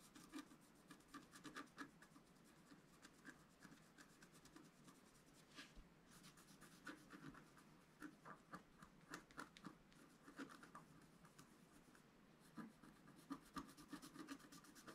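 A wooden stylus scratches across a flat black-coated scratch art paper sheet resting on a table, working near its lower left corner. Quick, irregular strokes produce soft, dry scraping and rasping, with brief bright ticks over a faint mid-range hiss and no ring after each stroke.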